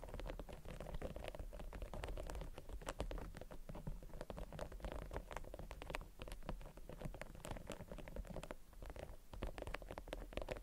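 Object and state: Beeswax wrap.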